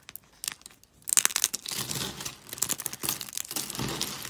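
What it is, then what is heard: Dry soap flakes crunching. Hands with long pink nails break and crunch thin, brittle pastel dry soap flakes. A few sparse, dry snaps in the first second give way to dense, bright crackling and crunching that continues to the end, with sharp peaks and almost no low end.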